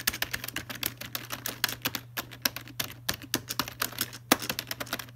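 Several fingertips type and tap rapidly on the keys of a full-size black plastic Logitech keyboard resting in its box. About 33 short, bright plastic clicks land in quick, uneven succession, each dying away almost instantly. A steady low hum runs underneath.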